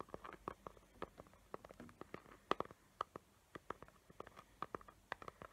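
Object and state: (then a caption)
Glitter-covered cardboard box. Long nails tap and scratch the lid of a small square cardboard gift box covered in glitter paper with hot-glue decorations, held up close. Quiet, irregular, rapid clicks with short, dry attacks centered around 1 kHz are mixed with soft scratchy rustling, and no tap rings on.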